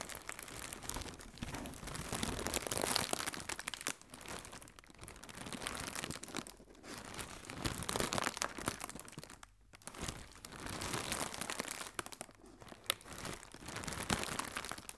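Fingertips and nails crinkle and press an inflated, hollow blue plastic air cushion packing strip, producing dense, irregular crackling and crunching with bright, hissy plastic texture. The loudness swells and dips in waves as the handling shifts, with a few brief near-silent pauses between bursts.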